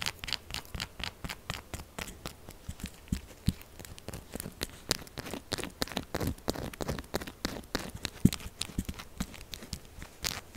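Long acrylic nails rapidly scratch and tap a solid, textured pink soap bar resting on a table. The result is a dense run of short, dry clicks and scrapes with bright edges over a soft low thump, each sound dying almost instantly.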